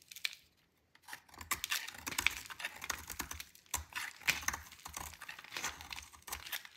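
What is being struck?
Bar of soap scraped with a metal blade.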